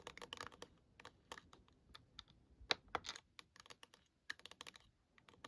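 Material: Plastic.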